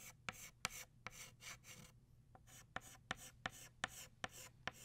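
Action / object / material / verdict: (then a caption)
scrape / chalk stick on chalkboard / chalk / none. An orange chalk stick on a flat black chalkboard makes scratching and rubbing strokes as it shades a flower. Bright, raspy strokes alternate with sharp taps where the chalk meets the board, with a steady low hum underneath.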